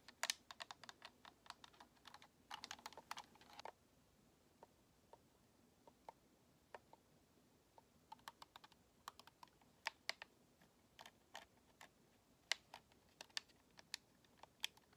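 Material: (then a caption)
Plastic. A white, hollow plastic Xbox controller with purple thumbstick grips is held in both hands and tapped with long manicured nails on its front and top. The quiet, sharp, bright clicks come in a fast flurry early on, then space out into irregular single taps over a near-silent background. Each tap dies away almost instantly.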